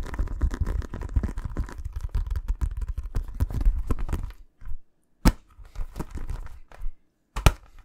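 A green Mitre synthetic leather football, inflated and hollow with a synthetic coated surface, is held close to the mic and tapped and scratched with fingertips and nails. About four seconds of dense, fast scratching and drumming with a deep, hollow low thud comes first. It is followed by a few separated taps and short scrapes, some with sharp, bright clicks, between moments of silence.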